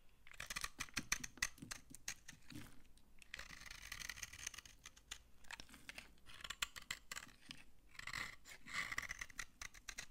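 A utility knife scrapes crumbly shavings off a dry, solid brown laundry soap bar held in the hand. Dense, dry, crunchy scraping comes in quick bright bursts with short pauses between strokes.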